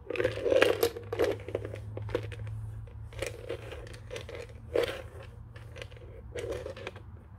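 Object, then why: Plastic telephone base. Fingertips tap on the underside of a white, hollow plastic desk telephone base, making quick, dry, hollow knocks with a boxy midrange ring and faint crinkly scratches between them. The taps come in uneven clusters, loudest at the start and fading to softer tapping. A steady low hum, possibly faint music, runs underneath.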